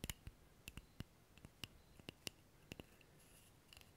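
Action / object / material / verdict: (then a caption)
tap / wooden object / wood / none. A wooden object is tapped 13 times at an uneven pace. Each tap is a short, dry click with a bright tick near 2.8 kHz and a soft low thump, dying away almost instantly. The taps are quiet against a faint hiss.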